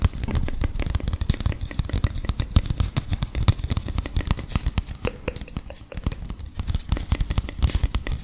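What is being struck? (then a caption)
Folded printed paper leaflet. A small folded printed paper leaflet is handled and scratched with fingertips and nails. Dense, rapid, dry crinkling and scratching ticks run throughout, with a soft low rumble underneath and no ring after each touch.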